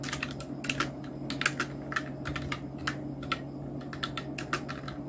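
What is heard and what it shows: Fingertips of both hands type on a full-size black Nubwo Illusion NK-70 mechanical keyboard with Outemu red switches, round plastic typewriter-style keycaps and blue backlight. Quick, short plastic clicks with bright attacks run steadily over a low, constant hum.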